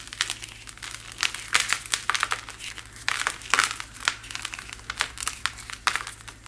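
Fingers with long white nails grip and crush a solid white chalk-like powder slab, which crumbles apart into falling powder. Dry, bright crunching and crackling bursts come in quick irregular clusters, each snapping off sharply into a soft, gritty crumble.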